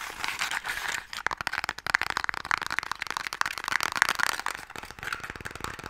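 A small, closed, pale wooden Mikado box that holds sticks is held upright and tapped rapidly with fingertips and nails. The result is a dense run of quick, dry, bright clicks and taps centered in the mid-to-high range, with almost no low end and no ring after each hit.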